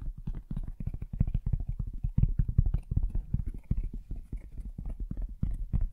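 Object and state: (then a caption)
Hollow cardboard box. A medium, rigid black cardboard box for a Blue Yeti X microphone, hollow and likely empty, is held in both hands and tapped and knocked on its sides with fingertips and nails. The result is a rapid, steady run of short, dry, hollow thumps that are deep and muffled, with almost no bright content and no ring after each tap.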